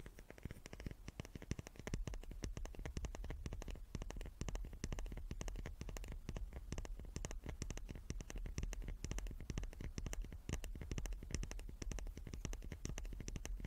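A small wooden cube is tapped rapidly and continuously. The dense stream of short, dry knocks carries a soft low thud under light clicking, each tap dying away almost at once, with no voice.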